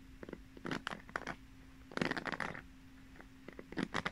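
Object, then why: Plastic pin hairbrush bristles. Long nails run and scratch over the plastic pin bristles of a pink paddle hairbrush with a cushion pad, the brush held upright and then horizontal. Quick bursts of dry, crackly ticking and scraping come in three clusters, with quiet gaps between them. A faint steady low hum sits underneath throughout.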